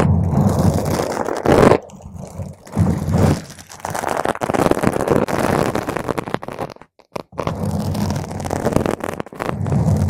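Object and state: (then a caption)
Foam microphone windscreen being scratched. Long pointed green acrylic nails scratch a purple spherical foam cover on a microphone, ending with single-nail touches. The result is dense, muffled, crackly scraping, heavy in low rumble with little high end, coming in bursts that briefly drop to near silence before starting again.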